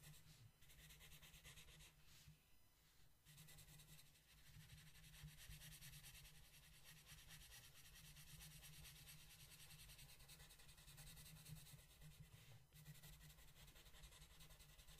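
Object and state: Colored pencil shading on a paper coloring page.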